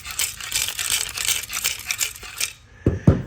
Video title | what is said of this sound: Camaro SS RS Convertible - Project Junker - Will It Run??? Can I Fix It??? | the material inside, the actual catalytic converter, was broken and coming apart